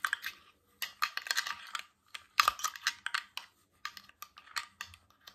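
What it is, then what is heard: Glass water bottle. A tall, clear glass water bottle with a stainless steel cap, mostly empty with droplets inside and held in both hands, is tapped and scratched with fingernails and rings. Quick, bright clicking taps and scratchy strokes come in clustered bursts separated by short silences, each with a faint glassy ring near 1.2 kHz that dies away almost instantly.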